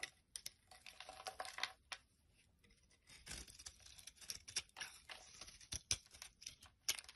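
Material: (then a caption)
Soap. A knife blade scrapes curls off the end of a solid yellow soap bar held in the palm. The result is quiet, bright, dry rasping strokes and crisp crackly shaving bursts, with a short near-silent pause partway through.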